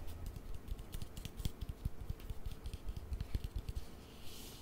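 Long nails tap and click on the side and lid of a small white plastic cream jar. The result is a rapid, uneven run of short, dull, low-heavy clicks with almost no ring, and a faint bright hiss near the end.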